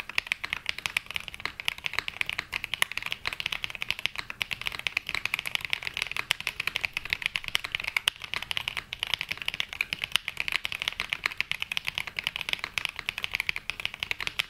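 A black Glacier 80 mechanical keyboard with London Fog switches and ABS plastic keycaps, resting on a felt mat, is typed on continuously with the fingertips of both hands. A steady stream of short, bright clacks, dozens of them, runs through the whole clip with almost no low end, and each keystroke dies away instantly.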